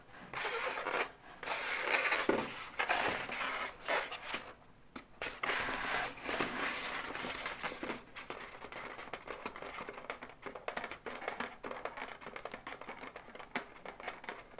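Long nails scratch and tap the legs and body of an inflated, hollow pink latex balloon dog. The result is a steady stream of dry, bright scratching and squeaky rubbing, with quick irregular taps and brief pauses.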